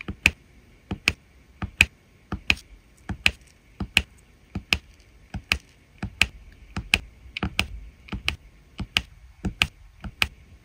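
A metal-tipped drill pen repeatedly taps resin rhinestone drills into place on the same area of a diamond painting canvas. The result is a steady series of short, crisp clicks, bright and dry with almost no ring, and a faint tone near 2.5 kHz.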